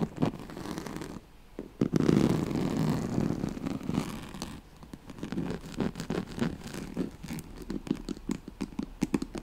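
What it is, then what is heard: Woven straw-like fabric mat being scratched. Long nails scratch the ribs and corded rim of a yellow striped woven oval pad, a straw-like fabric mat. The result is dry, low rasping scrapes: a dense, louder stretch of scratching early on, then quick, irregular strokes with short ticking accents.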